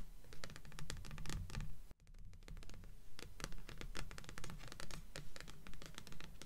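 Long fingernails scratch the glossy cardstock cover of a solid stack of paperback books resting on a table, with "Delirium" on top. The result is a steady run of quick, bright scratching strokes over a low rumble, broken by a brief near-silent gap just before the 2-second mark.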